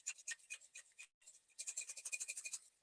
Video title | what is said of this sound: ᴘʀᴏᴅᴜᴄᴛs ᴇxᴘᴏsᴇ́ ᴡɪᴛʜ ᴅᴀɴɪᴇʟ ᴇᴋᴡᴇʀᴇ | you can hear the sound of the stones